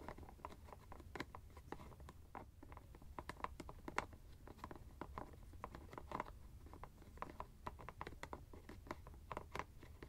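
Fingernails tap and scratch the white plastic screw cap of a teal fabric ice bag. Quick, dry clicks and light scratches patter irregularly over about ten seconds, with a faint ringing tone near 1 kHz. A low, steady hum sits underneath the quiet taps.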